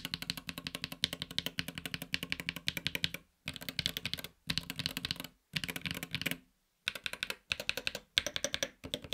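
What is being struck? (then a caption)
Aluminum-case mechanical keyboard with PBT keycaps. Fingertips type on a LUMINKEY Magger68 Pro HE, a 65% mechanical keyboard with a silver aluminum case and grey/red PBT keycaps. The keystrokes are rapid, short and bright, with a low thock underneath. They come in bursts separated by brief pauses.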